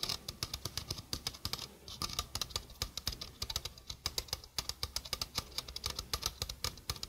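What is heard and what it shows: A small, hollow stainless steel mesh sink strainer is held close to the microphone while long fingernails rapidly tap its mesh and rim. The result is a steady stream of short, dry, bright clicks with almost no ring, over a faint low rumble.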